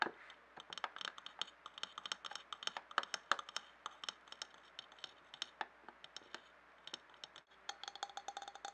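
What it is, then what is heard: Glass jar. A medium clear glass jar with a screw-thread rim, filled with colored paper scraps, is handled, tilted and tapped with fingertips and nails. Dozens of quick, bright clicks and light taps come in irregular bursts over soft rustling, each dying away almost at once. There is a brief silence just before the last second-and-a-half of tapping.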